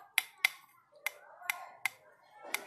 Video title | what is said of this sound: Hướng dẫn Phân biệt càng (kiếm) Nhôm , thép, carbon cùng Xe Đạp Hải Phòng .com | nghe cho một cái tiếng kêu nó rất là đục, nó bịch bịch đục như kiểu chúng ta gõ vào nhựa